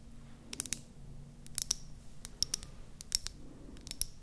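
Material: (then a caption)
Plastic. Long painted nails tap and scratch a small, light-green, hollow plastic mascara tube with its cap on, held up close to the microphones. Sharp, bright plastic clicks come in loose, irregular pairs and clusters over a faint low hum, with soft scratchy rustling between taps.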